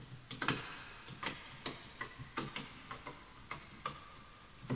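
Fingertips type on the wooden keys of a full-size bamboo wood computer keyboard, with the mouse left untouched. About ten separate, crisp taps with short, dry decay are heard at an uneven pace, each with a low woody knock and a bright click.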